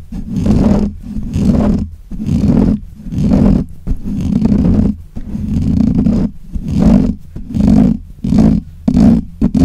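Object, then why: Metal mesh microphone grille. Fingernails scratch and rub the black, hollow metal mesh grille of a desk microphone. The contact comes through as a series of loud, rumbling, roar-like swells centered low around 200 Hz, separated by brief quiet gaps. The sound stays dark and muffled, with almost no bright, high content.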